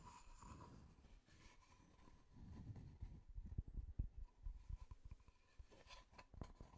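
A solid wooden tree-slice disc with visible growth rings is tapped rapidly with the fingertips. The taps are quiet, dull, low thuds that die away almost at once, forming an uneven clip-clop-like patter over a faint steady tone near 1 kHz.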